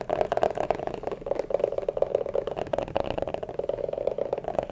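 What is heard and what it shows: Fingertips and nails tap and scratch over the canvas upper of a single hollow, empty, hand-sized lavender canvas low-top sneaker with white laces and a white rubber sole, held up close. The shoe is then turned so they scratch along the rubber sole and tread. The result is a dense, continuous run of quick, dry tapping and scratching with a hollow midrange tone that stays fairly steady throughout.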